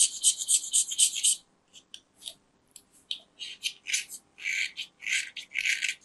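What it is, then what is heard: Soap bar being scraped. A metal craft knife carves and scrapes the edge of a small, round, solid white soap disc held in the fingers. A quick run of dense, bright, hissy scraping strokes is followed by a pause, then more spaced-out rasping scrapes. All of the sound sits in the high range, with no low end.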